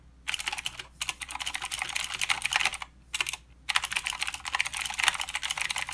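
Fingertips of both hands type continuously on a full-size mechanical keyboard with plastic keycaps and blue clicky switches. Rapid, bright, sharp clicks come in dense bursts with very short decay, broken by brief pauses near the one- and three-second marks.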